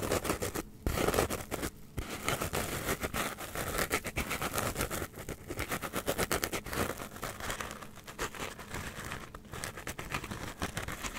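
Long nails scratch a solid, hand-sized block of white polystyrene foam held close to the mic. Dense, rapid scratching and squeaky crinkling carries on throughout, with brief pauses around the first two seconds and a bright, dry texture with little ring.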